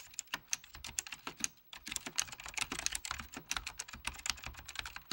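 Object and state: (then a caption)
Plastic computer keyboard. Fingertips of both hands type steadily on a full-size beige plastic Apple Extended Keyboard II with mechanical key switches, under red-blue lighting. A quick run of sharp, bright clacks with almost no low end is heard, each keystroke dying out almost instantly, with a brief pause partway through.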